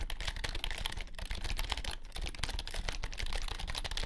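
Both hands type with their fingertips on a compact white plastic keyboard, producing a fast, steady run of short, dry key clicks. Each click carries a deep thud under a bright, clicky top and dies away almost instantly.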